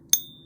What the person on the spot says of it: Pure silver doesn't have quite the same type of ring depending on the size and the thickness and the composition of the metal. It has a different type of, it's a higher pitched, somewhat dead ring, but it rings nonetheless.